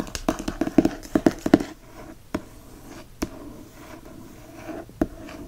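A single fingertip taps and traces across the paper dust jacket of a hardcover book. A quick flurry of short, dull, hollow taps is followed by a soft, continuous brushing rasp broken by a few spaced, isolated taps. Each tap dies away almost instantly.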